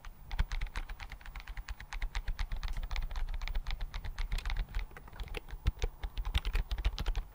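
Fingertips type rapidly on the keys of a slim white plastic computer keyboard held in front of the mic. The result is a steady, fast stream of short, dry keystroke clicks, each with a deep soft thump under a bright tap that dies away instantly.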